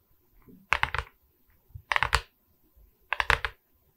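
Long red nails tap and scratch across the resin beads of a diamond painting on a wooden canvas board. Three separate bursts of quick, bright, clicky rattles stand out, each a cluster of crisp taps that stop dead with no ring. Faint, soft scratches fill the quiet gaps between them.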